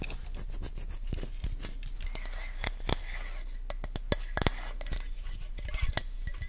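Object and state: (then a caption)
Plastic lotion bottle being scratched. Long nails scratch and rub along the label and body of a hollow, cylindrical white plastic lotion or sunscreen bottle with a brown cap, held in the hand close to the mic. A steady, dry scraping texture is broken by many sharp, bright ticks and clicks, each dying away almost at once.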